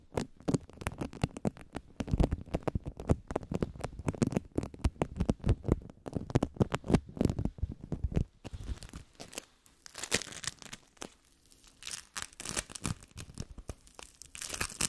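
A lump of yellow sticky bead foam, held in both hands, is squished and pressed with fingertips and long nails. It makes dense, rapid crackling and crunching pops that are heavy in the low end for the first eight seconds or so. The sound then thins into quieter, brighter crinkly patter with short pauses.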